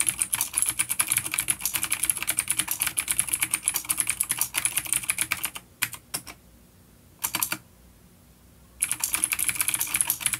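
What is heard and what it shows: Fingertips type rapidly on a full-size vintage mechanical keyboard with black plastic housing, grey keycaps, a coiled cable and clicky blue switches, an A-grade unit resting on a wooden desk. A dense stream of sharp, bright, high clicks is heard, with short pauses around the middle where only a few isolated taps break the quiet before fast typing resumes.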